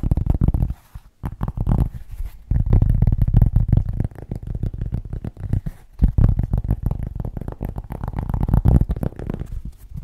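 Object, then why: Cork object. A cork is tapped rapidly in a dense, continuous flurry of deep, bassy thuds, with almost no high-end content. The tapping dips briefly to near silence around the one-second and six-second marks before resuming at full pace.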